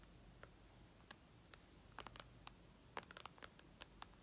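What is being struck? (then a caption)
Glass tablet screen. Long red almond-shaped nails tap rapidly on the glass screen of a white iPad lying flat, near the top edge. Fourteen short, dry clicks sit over a faint low hum; they start sparse and bunch closer together later. Each tap is a quick, bright tick that dies away almost instantly.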